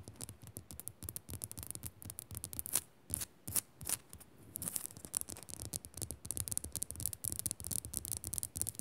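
Long nails scratch fast and tap on the crystalline surface of a solid pink Himalayan salt lamp, close up. Dense bursts of dry, bright scratching crowd together, with sharper taps standing out in between and a low thump beneath them. Each sound dies away almost instantly with no ring.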